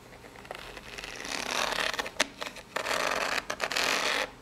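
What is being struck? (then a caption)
Corrugated cardboard box. Long polished nails tap and scratch the ribbed top and side of a small, hollow, brown corrugated cardboard box. Soft scratching builds into bright, rasping strokes broken by a few sharp taps, then stops and fades to quiet.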